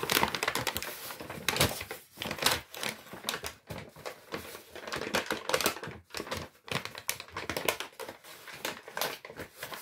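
An empty brown Lidl kraft paper shopping bag with handles is crumpled and rubbed with the fingers. Dense, bright crinkling and crackling bursts come in quick, uneven waves, with brief near-silent pauses around two and six seconds.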